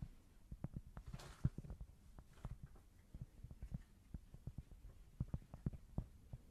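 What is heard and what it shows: A small, thin, solid square cork board is held close to the microphone and scratched with long nails. About twenty short, dull, low scratching taps come in an uneven run, with a faint hum underneath. The whole clip stays quiet and muffled, with almost no bright sound and no ring after each stroke.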